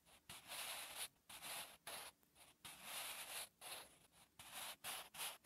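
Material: Paper.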